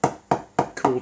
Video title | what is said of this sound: Making a hand hammered gutty golf ball - TimewarpGolf | you'll hear that it's actually cooled quite a lot